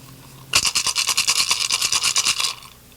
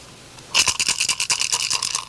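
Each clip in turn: First: turtle shell rattle with the right amount of pebbles. Second: turtle shell rattle with pebbles inside.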